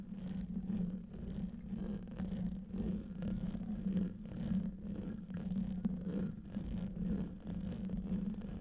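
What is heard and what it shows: Fingertips and short nails scratch the hollow domed metal mesh grille of a large silver condenser microphone. The result is a steady, low, rumbling whir centered near 200 Hz that swells and dips in rhythm with the strokes, with almost nothing in the high range.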